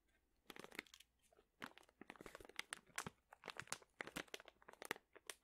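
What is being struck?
Plastic pouch filled with dried chili peppers.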